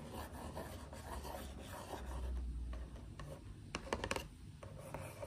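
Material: Cardboard.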